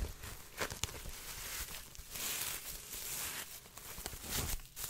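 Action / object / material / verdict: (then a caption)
scrape / woven straw hat / straw / none. A large woven straw sun hat with a frayed brim and black band, held up close, has its crown and brim scratched and rubbed with fingertips and nails. The result is a dry, bright, crinkly scratching with brief sharp ticks and a faint low rumble underneath.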